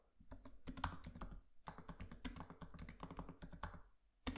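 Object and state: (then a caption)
Laptop keyboard being typed on. Both hands' fingertips type quickly on a MacBook Pro laptop keyboard with black plastic keys and an aluminium body. The result is dense bursts of soft, dull key taps, heavy in low thump with little high click, each dying away almost at once. The typing pauses briefly near the middle and again near the end, then one last sharp tap follows.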